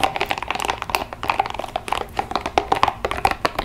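Long nails rapidly tap and scratch the spikes of a small pink translucent rubber spiky ball held in both hands. The result is a fast run of short, crisp clicks with a bright tone near 780 Hz and light scratchy texture between them.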